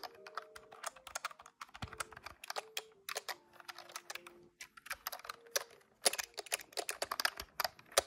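Fingertips tap quickly across the keys of a large grey-white plastic desktop calculator with a hollow body, in a fast typing pattern. Dense, dry, bright plastic clicks and clacks come with almost no ring, some strikes louder and sharper than others. Faint steady mid-pitched tones sit quietly beneath the tapping.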